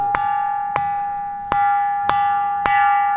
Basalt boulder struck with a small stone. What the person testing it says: గుడిలో గంట మోగే కంచు లాంటి శబ్దం వినిపిస్తుంది